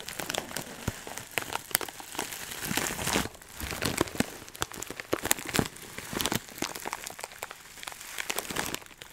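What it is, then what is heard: Plastic bag of dried herbs. A clear plastic bag full of dry herbs is squeezed and crunched firmly with fingers for about nine seconds. Dense, bright crinkling and crackling come in quick, sharp bursts, with a few louder crunches standing out over a steady rustle.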